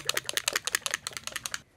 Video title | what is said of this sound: Caliray Skin Tint - Good for Over 40? | you can hear that in there that you need to shake it